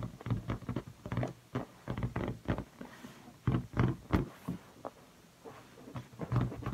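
Fingertips with red-painted nails tap, rub and squeak on the stretched latex of a large blue inflated rubber balloon, hollow and air-filled and held by the neck. An irregular run of soft, hollow, low thumps and brief squeaks fades quickly, with quieter rubbing between the taps.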